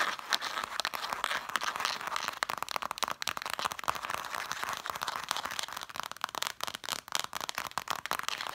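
Long dark nails rapidly tap and scratch along the spines of a stack of red cloth-bound hardcover books. The result is a dense stream of short, dry clicks and scratchy, crinkling rasps, concentrated in the mid and high range with no low end and almost no ring.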